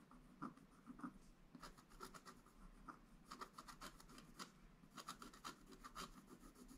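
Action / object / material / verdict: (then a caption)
scrape / coated scratch art paper board scraped with a wooden stylus / coated paperboard / none. A wooden stylus scratches fine lines into a flat scratch art page, black-coated over a gold base. Quiet, dry, rasping strokes come in quick irregular bursts, each with a brief bright scrape and almost no ring.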